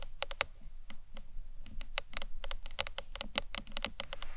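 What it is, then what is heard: Acrylic box clutch tapped with nails. Long nails tap quickly across the front face and corners of a hollow green marbled acrylic box clutch. About two dozen sharp, bright clicks land in an uneven rhythm, each dying almost instantly with no ring, over a low, soft rumble.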